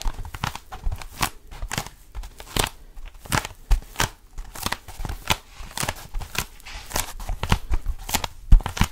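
Fingertips grip and scratch the textured surface of a long blue foam roller, a lightweight solid foam cylinder. The result is a rapid, irregular run of short, dry, crackling scrapes and soft rustles with bright, brief bursts over a low, muffled undertone.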